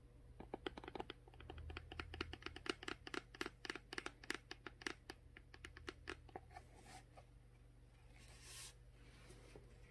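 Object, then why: Plastic water bottle. Long nails tap and scratch the blue plastic cap of a full, clear plastic Core water bottle, then move to its ridged plastic bottom, making a quick run of sharp, dry clicks with bright edges over a faint low hum. After about six seconds the taps thin into softer, quieter scratching, with a brief soft swish near the end.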